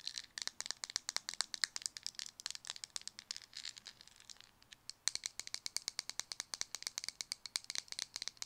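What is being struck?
Small plastic cosmetic jar.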